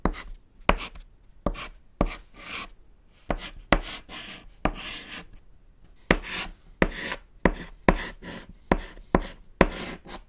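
A thick white edible chalk stick, held in the fingers, writes on a small, solid, flat black chalkboard panel resting on a table. About fourteen sharp taps mark where each stroke lands, and each is followed by a dry, bright scratching rasp as the chalk drags across the board. Short pauses separate the strokes.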